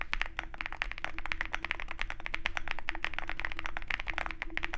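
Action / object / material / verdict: tap / mechanical keyboard with aluminum case and plastic keycaps / plastic, aluminum / none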